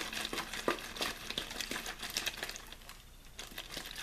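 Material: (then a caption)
Plastic. A clear, thin plastic bottled-water bottle with a blue label, hollow and apparently empty, is held in one hand and shaken and squeezed back and forth. The plastic gives off rapid, irregular, bright crinkles and crackles. The sound dips briefly quieter near the three-second mark before picking up again.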